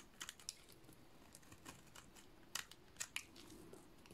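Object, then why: Soap bar cut with a blade. A utility-knife blade cuts and scrapes a solid, cream-colored dry soap bar, shaving off thick curls. Quiet, dry, crisp snaps and crackles come in irregular bursts, bright and short with no ring, over a faint steady low hum.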